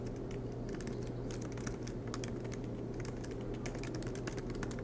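Both hands type continuously with their fingertips on a silver MacBook Pro laptop, tapping low-profile black plastic keys set in an aluminium body as it rests on a desk mat. The result is a quiet, steady stream of soft, crisp key clicks over a constant low hum.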